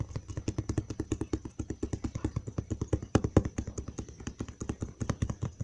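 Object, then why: Large cardboard box. A large, hollow brown cardboard box is held up close and tapped on its flat side with the fingertips of one hand. About 48 quick, uneven taps come in a steady flurry, each a short, dull, low thud that stops almost at once, with a faint papery tick on top.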